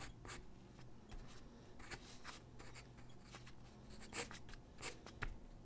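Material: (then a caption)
Paper. A graphite pencil held in the hand scratches across a large white drawing paper sheet lying flat on a wooden desk while sketching figure drawings. Soft, dry scratching strokes come in quick, bright bursts over a quiet, steady low hum.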